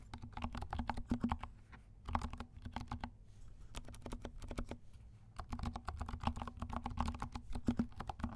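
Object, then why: Plastic mechanical keyboard with silent switches. A compact 68-key mechanical keyboard with dark plastic keycaps and silent switches is typed on with the fingertips of both hands. It makes a steady run of soft, muted, low-heavy key taps with a dull tone around 234 Hz. The bursts are broken by brief pauses near 2, 3 and 5 seconds, and each tap dies away almost instantly.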